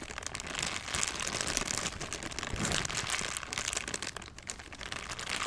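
A thin, empty, transparent plastic bag is squeezed and crinkled with the fingers close to the microphone. It makes a steady stream of dense, bright crackling and rustling that swells and eases over the clip, with little low end.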